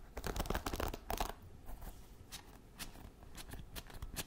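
A wooden paddle hairbrush is held close to the mic while fingernails scratch across its wooden bristles. Dense, dry crackling scratches fill the first second or so, then thin out into quieter, sparser bright scrapes over a soft hiss.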